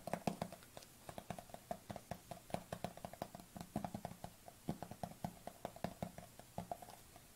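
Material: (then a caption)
Plastic. Fingernails tap fast on the flat lid of a white plastic supplement tub held lid-forward, producing about thirty quick, dry clicks. Each tap has a hollow, low plastic knock around 200 Hz with a brighter tick on top, and it dies away almost instantly.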